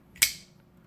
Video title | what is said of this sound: Michael Zieba S2 "Double Tap" Knife Consult | a very loud noise a very solid lock up right there